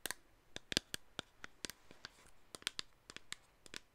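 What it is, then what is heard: Plastic spray bottle tapped with fingernails. Long acrylic nails tap and scratch on the body of a hollow black plastic cosmetic spray bottle held close. About seventeen sharp, dry clicks in an uneven rhythm, with light scratching between them. The sound is bright and crisp, with little low end and no ring after each hit.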